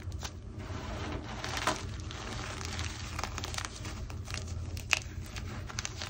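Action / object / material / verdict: scrape / pile of gym chalk chunks and powder / chalk / none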